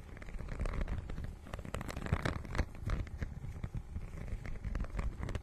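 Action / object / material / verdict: scrape / faux-leather book cover with raised scale texture / faux leather / none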